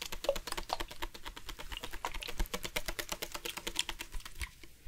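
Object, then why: Hard-plastic water bottle. Fingertips and nails tap quickly on the body of a hollow black hard-plastic sports water bottle with a green-accented cap, partly filled with water. A rapid stream of short, bright clicking taps with a light hollow knock underneath, each dying away almost at once, goes on steadily and thins out slightly near the end.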